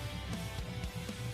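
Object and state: Nothing is struck.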